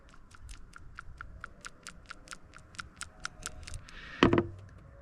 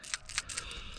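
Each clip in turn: First: sticking PCV valve (bad). Second: PCV valve moving freely (good).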